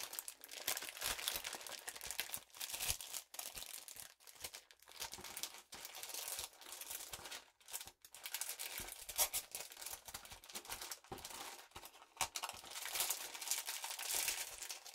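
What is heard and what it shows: A small square stack of acrylic rhinestone sheets in a crinkly clear plastic wrap is held in both hands while long purple nails scratch and rub the gems through the wrap. The result is a dense, bright crinkling and scratching with rapid crackles, broken by a few brief pauses, and almost no low end.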